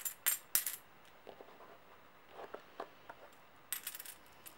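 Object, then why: Small stack of metal coins. A small stack of solid brass-coloured metal coins rests in an open palm while the fingers of the other hand shuffle and clink them together. The coins give bright, high, short metallic jingles that die away almost at once, with a few louder bursts at the start and end and softer clicks in between.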